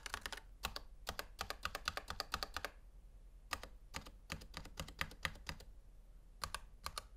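A Razer Huntsman V2 Analog full-size black plastic mechanical gaming keyboard with a hollow housing sits on a white table while a gloved fingertip presses keys, then both gloved hands type. Bursts of rapid, crisp clacks with short, bright, clicky attacks and a light hollow low thud are separated by brief pauses.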